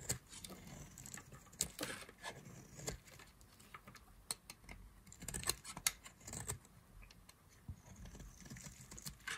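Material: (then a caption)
Soap. A solid rectangular white bar of dry soap with a yellow core is held in the hand and scraped and carved with a black-handled knife blade, shaving pieces off. The audio is a quiet run of dry, crisp scrapes and sharp, bright clicks with no ring, punctuated by soft crumbly rustles as the shavings fall.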